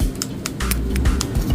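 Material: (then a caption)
Acrylic. A dip-powder nail tip finished with a seal coat is tapped several times, giving light, hollow clicks that show the seal is completely dry and the nail is ready for the next step. Music plays underneath.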